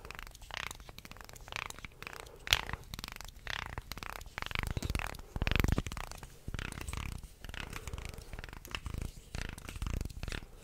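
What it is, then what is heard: Wooden segmented shark toy. A wooden segmented shark toy is held vertically while nails and fingertips scratch down its slotted segments and flex its body. The result is a dense run of dry rasping, clicking scrapes with low, rumbly bursts as the segments grind together. One sharp, bright click stands out early on.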